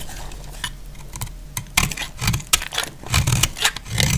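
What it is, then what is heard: Dry soap bar being cut. A solid, dry, off-white bar of soap is held in the hand and cut with a metal utility blade. The clip is full of crisp, bright scraping and crackling as the blade bites through the hard soap, with a soft low rumble underneath and several louder snapping cuts toward the end.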